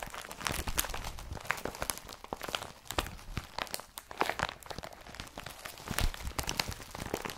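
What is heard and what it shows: An empty blue IKEA BRATTBY woven polypropylene carrier bag with its yellow-patterned strap is rubbed and crumpled with both hands. The result is a steady, dense crinkling broken by many sharp, dry crackles that die away almost instantly, with bright hiss on top and a soft low rustle underneath.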